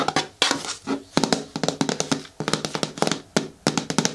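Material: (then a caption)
Plastic. Long nails tap, scratch and rub the side of a hollow, hard green plastic bin with a lid and handle. Quick clicky taps come in bursts, each with a short hollow low-mid thunk and a bright edge. Scratchy rubbing fills the gaps between bursts.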